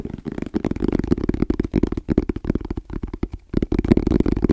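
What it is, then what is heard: Hard-shell EVA case, hollow. Fingertips tap quickly and rhythmically on the shell of a small, rigid, hollow black hard-shell EVA case with an orange zipper, held close to the mic. The taps come in dense bursts with short pauses, each a dull, hollow knock with a low-mid body and little brightness, dying out almost at once.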